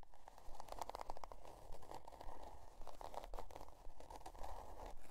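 Long, dark-painted almond nails scratch the stiff cardboard cover of a spiral-bound notebook, printed with a scale pattern and lying on white faux fur. Quiet, irregular bursts of dry, raspy scratching center around 800 Hz, with fine crackly texture over a steady low rumble. Each stroke stops almost at once with no ring.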